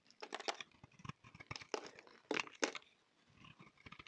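A solid oval orange-red bar of soap, held in the hand, is cut into chunks with a utility knife blade. Crisp, crunchy scraping and slicing sounds come in quick, dry bursts with a bright edge, with two louder cuts near the middle and a quieter stretch before soft scraping resumes.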